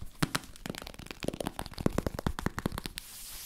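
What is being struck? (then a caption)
Hollow plastic powder bottle. A hand-sized, hollow pink-and-white Babi Mild plastic baby powder bottle with a pink cap is tapped and scratched with long nails in front of a Zoom recorder. About fifteen quick, dry taps land at an uneven pace, each with a hollow low body and almost no ring, mixed with crackly scratching. The clip ends on a faint steady hiss.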